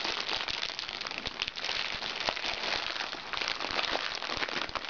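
A small, crinkly recycled plastic makeup bag is scratched with fingernails, then pressed flat and crinkled with both hands. This produces a dense, continuous, bright crackling and crinkling, with sharp snaps scattered throughout and almost no low end.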